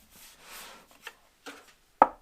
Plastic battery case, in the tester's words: it sounds Hollow because I noticed that when I was taking it out that's already it's got um a gap there with mounting positions